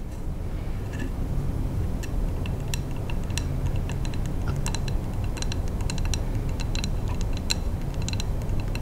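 A large Bath & Body Works three-wick scented candle in a wax-filled glass jar with a paper label and metal lid is held in both hands and tapped with long manicured nails. Quick, bright, clicky taps patter irregularly throughout, sitting over a steady low rumble that carries most of the loudness.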